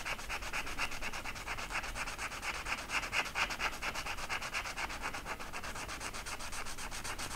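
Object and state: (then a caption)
Marker rubbed on flocked velvet. A blue marker is rubbed in short back-and-forth strokes over the pile of a flat flocked-velvet art poster, filling in feather shapes on the same sheet. The result is a continuous, soft, brushy scratching with a bright hiss, pulsing at roughly two strokes per second with fairly even loudness throughout.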